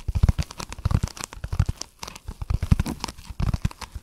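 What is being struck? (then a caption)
Foam block. A dark speckled, brick-sized solid foam block is held in both hands and rapidly scratched and squeezed with fingertips and nails. It gives dense bursts of dry, close, low-heavy crunching and tearing-like crinkles with a thin bright hiss, each burst stopping short with almost no ring.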